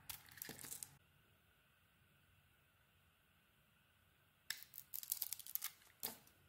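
A metal utility blade carves and shaves the printed surface layer off a solid, hand-sized pink Isana bar soap with a heart pattern, held in one hand. Bright, crisp scraping and cutting bursts come in the first second, followed by a near-silent pause, then resume in a quick run of shaving strokes over the last two seconds.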